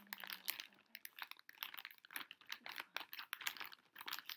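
Fingertips and long nails tap and crinkle the top and sides of a pink Pocky plastic foil snack pouch held upright on a table. The result is a quiet, dry stream of quick, bright crackles and taps in uneven bursts, with almost no low end and no ring after each touch.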